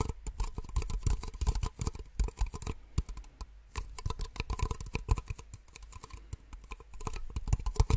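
Long nails tap quickly on two identical small, empty white plastic cups held upside down. The result is a dense run of short, dry plastic clicks with dull low thumps and almost no ring, rising and falling in bursts.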